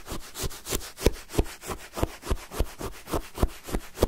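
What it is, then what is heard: Icy lemon sherbet scraped with a spoon. A wooden spoon is repeatedly stabbed and dragged through a full cup of pale, granular lemon sherbet shaved ice. It produces a steady run of crisp, crunchy scrapes and rasps, roughly three per second and somewhat uneven, each with a short low thump and a bright gritty hiss.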